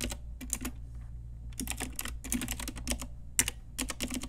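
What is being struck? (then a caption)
Plastic mechanical keyboard with round keycaps. Both hands type on a pink Ajazz typewriter-style retro mechanical keyboard with round plastic keycaps, using fingertips and long nails. Quick bursts of bright, crisp plastic clacks come in clusters separated by short pauses, each keystroke dying away almost instantly over a steady low hum.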